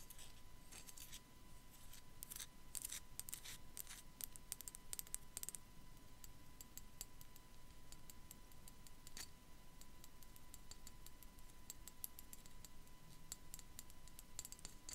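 Long black nails tap and scratch a small, hollow, white matte ceramic sugar skull figurine with raised floral and dot relief while it is held in the hand. Quiet, sharp, bright clicks and scratchy rasps come in a dense burst early on, then spread out into steadier taps. A low rumble and a faint steady hum sit underneath throughout.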